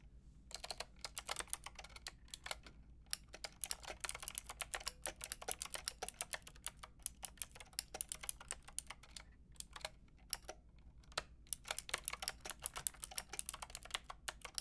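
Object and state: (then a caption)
Plastic mechanical keyboard. Rapid key tapping on a Lofree mechanical keyboard with a white plastic case and round pink and grey plastic keycaps, typed with fingertips and long red nails. A continuous stream of short, bright plastic clicks with brief pauses sits over a faint steady low hum, and each click stops dead with no ring.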